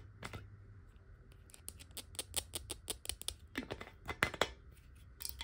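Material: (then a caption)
Glass. Long fingernail tips tap lightly and quickly on a clear glass water bottle held horizontally and partly filled with water. The result is a fast, uneven run of short, bright ticking clicks with almost no ring, over a faint steady low hum.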